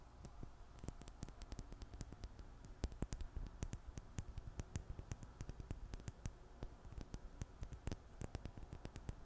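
Long fingernails tap rapidly and irregularly on a small glass serum bottle with a black dropper cap, held in the fingers. Each tap is a short, bright click that stops almost instantly, over a quiet, steady low hum.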